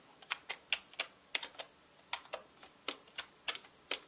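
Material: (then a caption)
Plastic. Fingertips type on a full-size black mechanical keyboard with plastic keycaps, producing a quick, uneven run of about fourteen sharp, bright clicks and taps. Each keystroke is crisp and dies away almost instantly, with no low-end body beneath it.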